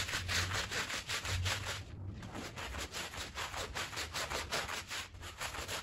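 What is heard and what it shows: A green push broom scrubs a small, fringed, wet and soapy woven fabric rug in steady back-and-forth strokes. Each stroke makes a broad, bright rasping swish over a low rumble, with a brief pause near the two-second mark before the scrubbing resumes.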